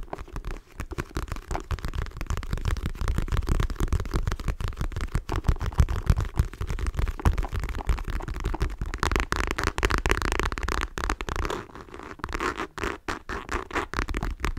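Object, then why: Faux leather wallet. A dark patterned faux leather clutch wallet, held upright, is scratched and tapped with long nails. Fast, irregular tapping and scratching produces dull, low thuds with short rustling scrapes, and it continues steadily throughout.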